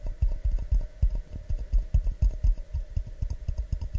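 An empty, medium-sized, hollow clear glass mug held in both hands is tapped with fingertips and nails in a quick, uneven patter of about 16 soft, dull taps. Each tap is a short, low thud with a faint bright click on top, dying away almost instantly.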